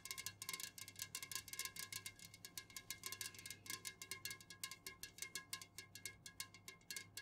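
Long nails tap rapidly on the sides and lid of an unopened, full, tall Jumex aluminum juice can, first standing upright and then held and tilted. The result is a fast, continuous run of bright, clicky metallic ticks, each dying away almost instantly, over a faint steady low hum.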